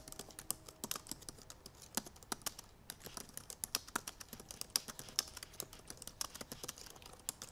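Long purple nails tap the black plastic keys of a silver aluminum MacBook Pro in fast typing. The result is a quick, irregular stream of dry, sharp clicks, bright and light with almost no low end and each tap dying out instantly.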